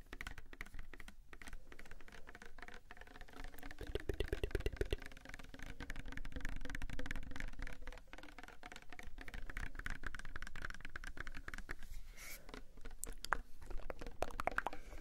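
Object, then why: Plastic soap bottle. Fingertips and nails tap and scratch a palm-sized, pink-red Sagrotan plastic hand soap bottle that appears filled. The result is a quiet, continuous flurry of quick, irregular tapping with dull, soft thuds and short clicks. A denser burst of tapping comes around the four-to-five-second mark.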